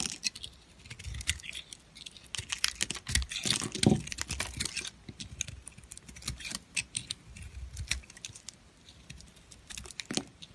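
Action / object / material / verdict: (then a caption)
scrape / soap bar / soap / none. An oval, solid bar of pink glitter soap with a cream-coloured interior is held in the hand and shaved with a metal blade, with an untouched blue soap nearby. The shaving makes dense, bright crunching and crackling clicks, with a loud burst of scraping around the middle. The blade peels off crunchy curls of soap.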